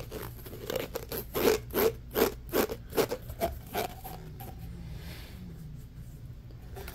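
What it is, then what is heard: Plastic pop tube rasped. Fingernails rub and rasp quickly along the ridges of a hollow orange corrugated plastic pop tube held horizontally. A run of fast, scratchy strokes with a mid-pitched ridged buzz and bright edges comes in rough rhythm, then trails off into quieter, faint rubbing for the last few seconds.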